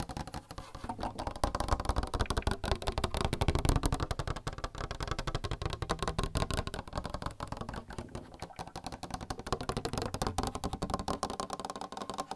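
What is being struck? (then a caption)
Plastic water cooler. A plastic water cooler is tapped rapidly and continuously with dense, overlapping taps. The taps sound dull and hollow, with most energy low and little high brightness, and each decays almost instantly.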